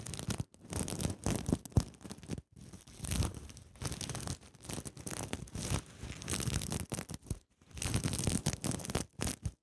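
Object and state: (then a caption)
Sequin fabric pouch. Long nails scratch and rub across the flip-sequin surface of a zippered cosmetic pouch held in the hands. The result is bursts of crisp, crinkly rustling and scraping with a low rumble underneath and a bright hiss on top, broken by brief silent pauses.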